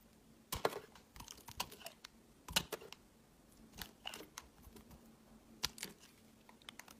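A utility knife blade carves and scrapes the surface of a translucent green solid glycerin soap bar held in the hand. Irregular, crisp, crunchy cuts and short bright scrapes come in scattered bursts with quiet gaps, over a faint steady low hum.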